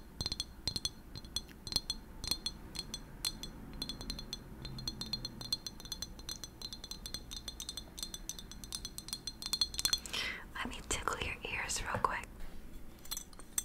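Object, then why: Glass object. Long nails tap quickly and repeatedly on a glass object, making a steady stream of light, bright clinks that die away almost at once. Near the end the tapping turns denser, with a brief burst of scratchy, rustling contact over the glass.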